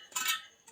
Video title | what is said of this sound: เทคนิคการตั้งซี่ลวด ขึ้นซี่ลวดล้อมอไซค์ เปลี่ยนดุม เปลี่ยนซี่ลวด ตั้งศูนย์ล้อมอไซค์ | ไล่ตัวโน้ตดูนะครับไม่ใช่วงดนตรีแต่อย่างใดนะครับแต่เราจะรู้เลยว่าซี่ไหนมันไม่ตึง